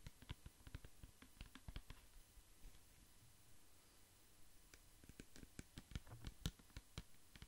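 A large clear plastic pump bottle filled with amber liquid is tapped with fingertips and nails while held near the mic. About 21 quiet, dry, closely spaced taps are heard as low, muffled thuds with short bright clicking edges. A softer lull in the middle separates two busier bursts of tapping.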